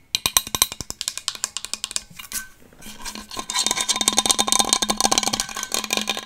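Long acrylic nails tap and scratch a large, hollow, black powder-coated Hydro Flask stainless steel water bottle held close to the mic. Quick, crisp, bright taps with a faint metallic ring come first, followed by a brief lull and then a denser stretch of fast scratching and tapping.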